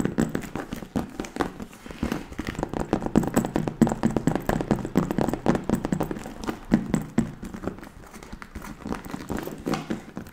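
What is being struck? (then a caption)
Patent leather handbag. Long nails and fingertips tap rapidly on the front panel of a hollow, burgundy glossy patent leather handbag. The result is a fast, uneven patter of short, dull taps centered in the low-mid range, each dying away almost instantly.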